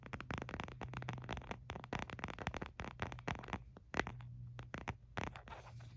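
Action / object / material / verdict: scrape / plastic phone case / plastic / none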